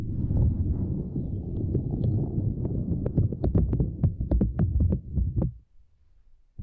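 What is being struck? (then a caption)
Silicone grid mat. Long nails and fingers tap and press a small, flat purple silicone grid mat resting across a microphone. The result is deep, muffled thumping and rubbing, then quick, irregular clicky taps that fade to near silence, with a soft thump at the end.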